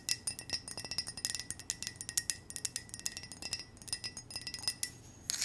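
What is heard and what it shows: An empty, hollow white ceramic coffee mug with a heart pattern is rotated in the hands while long nails tap and scratch its sides and base. About thirty quick, bright clicks and clinks follow one another, each with a faint high ringing tone that dies almost instantly. The whole passage stays soft and light, with almost no low end.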